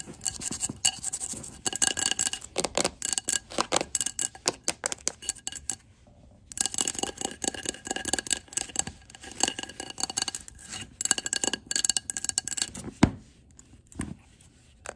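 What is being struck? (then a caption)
Wax-filled glass jar candle. Long glittery nails tap and scratch the glass side of a large glass jar candle full of wax with a red printed wrap, then move to its labelled glass base. Quick, bright clicks and raspy scratches come in dense bursts with almost no ring, pause briefly around the six-second mark, then resume and thin out toward the end.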